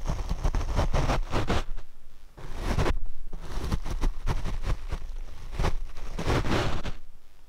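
A paint brush is brushed across the black foam windscreen on a Rode microphone. Repeated soft, scratchy swishing strokes come through as deep, muffled rumbling and brief broadband bursts, with a short quieter gap near the middle.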